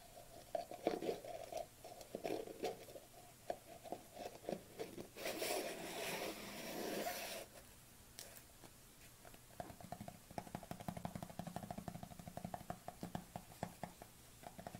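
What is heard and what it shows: Fingernails tap and scratch the lid rim and side of a white plastic supplement tub held tilted, producing rapid, irregular hollow clicks with a low-mid plastic resonance. A longer, brighter scraping rasp rises in the middle before the quick tapping resumes.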